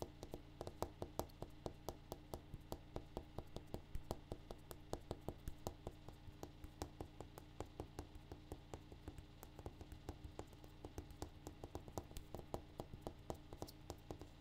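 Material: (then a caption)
Granite. A granite countertop is tapped in a quick, steady stream of short, dry taps that die away almost instantly. A low, steady hum runs underneath, and the taps sound dull and soft rather than ringing.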